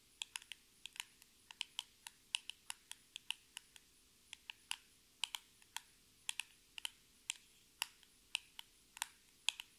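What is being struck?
Small printed cardboard box tapped with fingernails.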